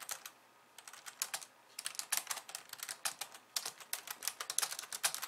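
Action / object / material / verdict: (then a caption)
tap / plastic computer keyboard / plastic / none. Fast two-handed typing with long nails on a pink plastic slim keyboard with white keys. Rapid, bright plastic clicks and taps come in dense bursts with a short pause near the start, each click dying away almost instantly with no low-end body.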